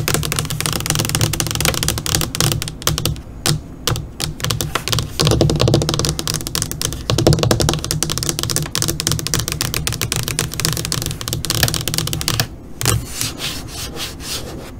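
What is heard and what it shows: Long nails on both hands tap and scratch across a flat black LCD computer monitor screen with curled fingers. The sound is a dense, rapid stream of sharp, bright clicks mixed with scratchy swipes, over a steady low hum, with a few brief pauses.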